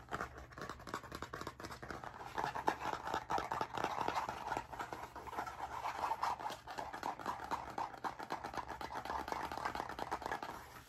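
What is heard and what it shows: A medium blue spiral-bound hardcover notebook with a stiff cardboard cover and a metal wire binding is held flat before the microphone while its cover is scratched and tapped fast with fingertips and nails. It makes a dense, continuous stream of dry scratches and quick taps, strongest in the midrange around 1 kHz. It holds at a steady, moderate level for about 11 seconds.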